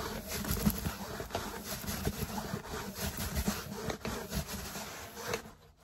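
Fingertips and short nails tap and rub quickly across the curved outer layer of a large grey foam yoga mat rolled into a hollow cylinder and held upright. A dense, continuous rustle of scratching mixes with soft, muffled thumps and a low, hollow body before the sound drops away at the end.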